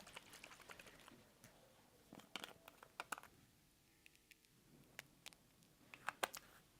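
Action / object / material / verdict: shake / bottle of fountain pen ink / ink / fizzing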